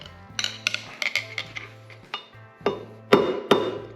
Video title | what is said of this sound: WHEEL BEARING INSTALL ON THE LAND ROVER DEFENDER | The note has changed. See, now it sounds solid.